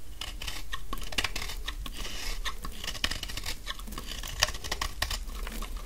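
A large, solid, dry pink bar of soap held in the hand is shaved with a utility knife blade, peeling off fine curls. The blade makes a steady run of crisp, bright scraping crackles with sharper ticks scattered through, over a constant low hum.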